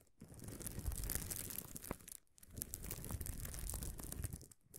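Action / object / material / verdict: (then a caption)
scrape / sheet of plastic bubble wrap / plastic / none. Both hands scratch and rub the fingertips and nails across a large flat sheet of air-filled, gold-tinted plastic bubble wrap lying on a table, working around a field recorder that sits untouched on the sheet. The result is dense crinkling and scratchy rustling with bright crackle over a strong low rumble, in two long bursts broken by brief near-silent pauses.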